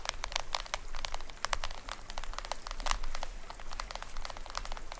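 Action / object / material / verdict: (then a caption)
tap / plastic film head of a small toy drum / plastic film / none. Fingertips and nails tap and scratch the printed plastic film head of a small hollow toy drum with a green rim. The result is a dense run of quick, crisp clicks and crinkly scratches that are bright and die away almost instantly, over a faint low rumble.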